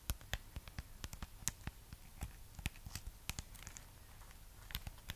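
Long fingernails scratch and tap over the textured surface of a solid, hand-sized red wax-coated amaryllis bulb. The result is a quiet, uneven run of short, dry clicks and scrapes with bright edges, each dying away almost instantly over a faint low background hum.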